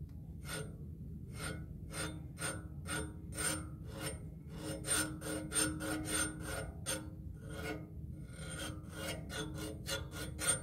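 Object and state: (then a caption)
Coated metal music stand tube. Fingertips and nails scratch and tap the smooth coated surface of a black music stand tube lying on carpet. The result is a run of irregular, raspy scraping strokes with bright, hissy highs over a steady low rumble, growing denser toward the middle and end.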